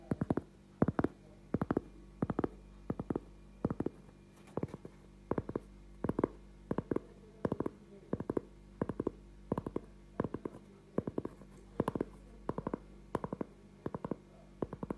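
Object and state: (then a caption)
Cork object tapped with fingers. A cork object is tapped with fingers in short clusters of quick, dull thuds repeating steadily, with no speech. Each tap is soft and low-pitched and dies away almost at once against a quiet background.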